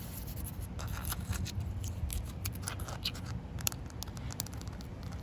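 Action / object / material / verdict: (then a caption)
scrape / concrete slab scratched with fingernails / concrete / none. Short white nails scratch along a solid, partly wet outdoor concrete slab and across its expansion joint. Quiet, dry, bright scratches and brief clicks repeat over a steady low rumble, each stopping almost instantly with no ring.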